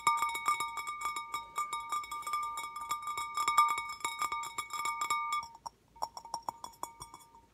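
Slow tapping on a handmade bowl, made about two weeks earlier on an art-place field trip at summer camp, gives quick, clinking, cowbell-like taps with a bright ring around 1.2 kHz that fades fast. The taps come in a steady stream, pause briefly near the end, then resume more softly.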